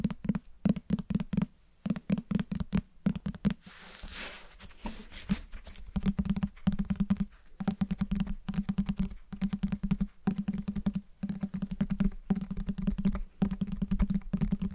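Fingertips and nails tap rapidly on the cover and spine of a closed cloth-bound hardcover book held close to the mic. The result is quick, dull, low taps with almost no ring, broken by a brief softer brushing, scratchy stretch partway through before the tapping resumes in fast bursts.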